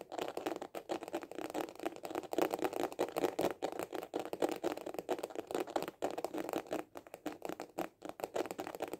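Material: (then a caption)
Plastic. Fingertips tap fast on a small hollow hard-shell glasses case with a white printed cover, held horizontally. The result is a rapid, continuous stream of short, dry, hollow clicks centred around 550 Hz, each dying away almost instantly, with little bass and only a faint bright edge.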